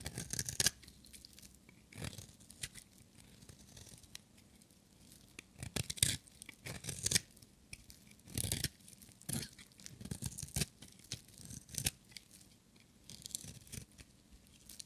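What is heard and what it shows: A small, solid, orange-striped bar of dry soap is held in one hand and scraped and shaved with a metal utility-knife blade. Short, dry, crunchy scraping strokes come in irregular bursts, bright and rasping, with quiet pauses between them.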